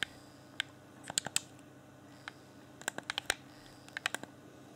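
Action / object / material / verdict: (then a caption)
tap / plastic game controller / plastic / none. A fingertip rapidly taps and clicks the D-pad and shell of a hand-sized, hollow, transparent plastic Xbox One Afterglow game controller. About seventeen short, bright, dry clicks come in irregular bursts over a faint steady hum, each dying away almost instantly.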